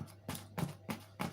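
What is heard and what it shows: Four dull, hollow taps on the underside of a freshly baked tomato focaccia, each a short low thump that dies away almost at once. The hollow sound shows the bread is baked through, and a skewer pushed into it comes out clean, not sticky.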